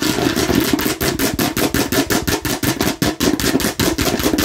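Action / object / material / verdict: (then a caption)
tap / plastic watermelon-slice bottle / plastic / none. Long nails tap and scratch rapidly across the red face of a hollow plastic watermelon-slice bottle with a red cap. A fast, uneven run of sharp, clattering clicks blends into scratchy, bright rasping over a hollow plastic resonance in the low-mid range.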